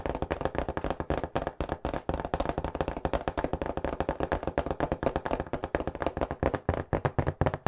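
A cardboard pizza box is held on its edge and tapped and knocked fast with fingertips on its flat face. The result is a rapid, uneven stream of short, dull, hollow thuds with a low body and almost no bright content, each dying away almost instantly.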